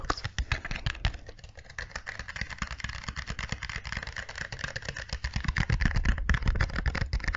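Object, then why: Small cardboard box. A small, hollow, white and green printed cardboard product box is held up close in both hands and tapped with long nails and fingertips. Rapid, irregular taps sound as deep, hollow thuds with bright clicking nail edges. The tapping grows slightly louder toward the end.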